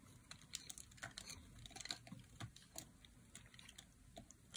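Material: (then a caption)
Soap. A metal blade carves flakes off a dry, solid light blue bar of soap held in the hand. About twenty quiet, crisp scrapes and snaps follow in quick succession, each bright and clicking, dying away almost at once over a faint low rumble.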